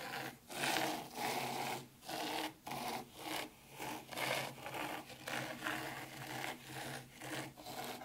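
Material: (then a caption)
Sand. Long curved pink nails scratch and rake grooves in fine white sand held in a black round tray of an ICNBUYS zen garden. Repeated bright, gritty rubbing strokes rise and fade, separated by brief quiet gaps.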